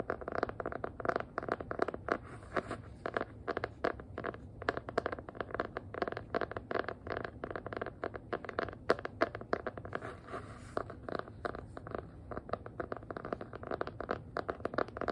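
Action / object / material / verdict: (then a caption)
tap / hardcover notebook with faux-leather cover / faux leather / none. Long nails scratch and tap rapidly across the faux-leather cover and spine of a small, solid black hardcover notebook with an elastic band. The result is a dense stream of short, dry clicks and scratchy scrapes, centered in the midrange, with little low end and almost no ring after each tap.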